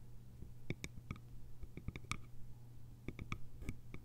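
Long nails tap the lid rim and sides of a small round hollow bamboo jar with a lid, making a quick, irregular series of crisp clicks. Each tap is short and dry, with a bright, faintly tonal ring that fades almost at once. A steady low hum sits underneath.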